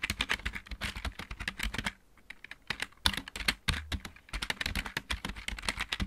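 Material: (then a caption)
Plastic. Fingertips of both hands type fast on a full-size backlit mechanical keyboard with plastic keycaps, making a rapid stream of sharp, bright clacks with a low thock beneath each keystroke. Typing pauses briefly near the two-second mark and again after four seconds before resuming, and faint music may be present in the background.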